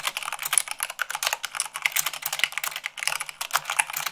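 Fast typing with fingertips and long nails on a mechanical keyboard with white plastic keycaps on a black base. A rapid, steady stream of crisp, bright clicks and clacks runs with barely any pause, each keystroke short and dry with almost no low end.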